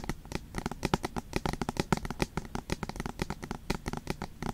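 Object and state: Aluminum tablet back tapped with nails.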